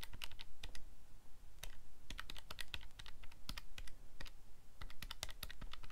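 Fingertips press the plastic buttons on a calculator keypad, making a rapid, irregular run of short, sharp, bright clicks. Each click dies away almost at once, over a steady low hum.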